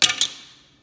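A metal credit card made with a lot of plastic is dropped, giving two quick, bright clicks about 0.2 seconds apart that fade fast. It sounds dull, more like wood or plastic than metal, because of the plastic in the card.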